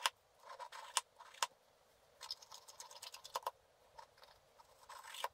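A black-coated scratch art card lying flat is scratched with a wooden stylus in slow strokes. Short bursts of dry, bright scraping are heard with a faint tone near 1 kHz, broken by a few sharp ticks and quiet gaps between strokes.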